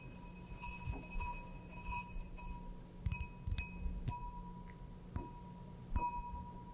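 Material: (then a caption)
Glass. An empty, clear, stemmed wine glass with a printed logo is held in one hand and tapped and brushed with long blue acrylic nails. Sharp taps ring out over a steady pitched tone near 1 kHz and a low hum, with bright, short-lived shimmer in the upper range. The glass gives a clean, chime-like ring that fades quickly after each tap.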